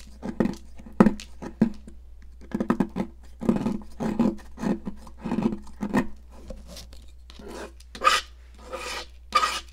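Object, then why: Stick of sidewalk chalk. A metal palette knife scrapes a solid yellow popsicle-shaped stick of sidewalk chalk, sending yellow chunks and powder onto a plastic mat. Short, rough rasping strokes come in quick bursts with a gritty buzz around 200 Hz, and the last few strokes sound brighter and hissier. A steady low hum runs underneath throughout.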